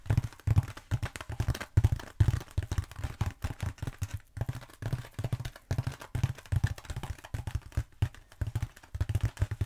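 Long acrylic nails tap fast on a long black textured foam roller held upright. The result is a rapid, uneven run of short, dull, low thuds with almost no ring and very little brightness.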